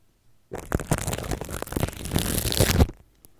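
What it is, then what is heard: Plastic cling wrap being scrubbed. A red plastic toothbrush scrubs and scratches clear plastic cling film wrapped around a microphone, working over its side and top. After a brief quiet start, a dense, continuous crinkling and scratching texture with a heavy low rumble runs for about two and a half seconds, swelling toward the end before stopping abruptly.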